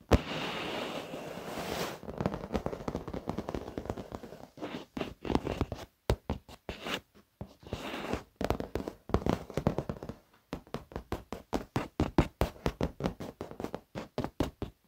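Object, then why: Padded leather chair surface. Fingertips and nails of both hands tap fast on the black padded leather surface of a leather office chair. After a couple of seconds of steady crackly scratching, rapid dull, short taps come in quick bursts separated by brief pauses, with little ring after each.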